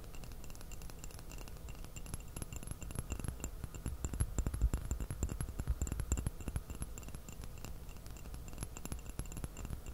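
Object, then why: Porcelain teacup. Fingertips and fingernails tap rapidly and irregularly on a small, empty white porcelain teacup with a purple floral print, held upside down in both hands. The taps make quiet, short, dry clicks with a hollow low thump and only a faint, quick-fading bright ring. They grow busier and louder in the middle of the clip, then settle back down.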